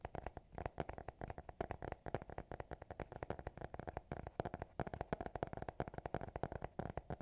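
A small black hardcover notebook with an elastic band, closed and held in both hands, is tapped and scratched with fingertips and nails. It gives a rapid, steady stream of short, dry taps with a hollow midrange knock around 690 Hz. Light scratchy texture fills the gaps between taps.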